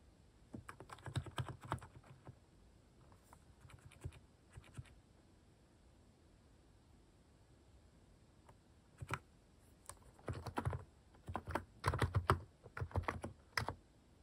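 Fingertips type on a compact Hanmumu mechanical keyboard with sculpted cat-shaped plastic keycaps on hollow key housings over the switches. Irregular bursts of quick clacking key presses carry a low, rounded thock, separated by brief quiet pauses.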